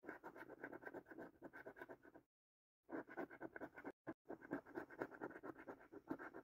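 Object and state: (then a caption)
Coin scratching a latex-coated scratch card. A coin scratches the last latex-coated panels off a thin cardboard paper scratch card in quick, rough, rasping strokes. The scratching runs in steady bursts with two brief silent pauses, sounding dry and papery with most of its energy in the low-mid range.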